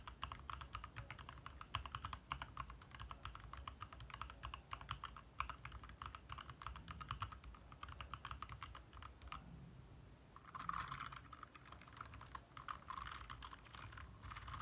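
Both hands type fast with their fingertips on a compact 60% backlit mechanical keyboard with lit plastic keycaps. The result is a dense, steady stream of short, sharp clacks over a low rumble, with a brief lull around the ten-second mark before the typing picks up again.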